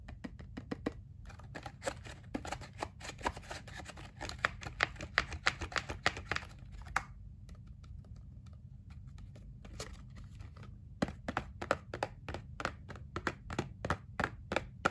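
Fingertips and nails tap quickly on the front and back faces of a small, hollow, printed cardboard Kinder Joy multipack box held in both hands, from the Funko Jurassic World collection. The taps are dry, short and clicky with a bright edge over a faint steady low hum. They come in dense runs, thin out to soft sparse taps in the middle, then return in louder, sharper bursts.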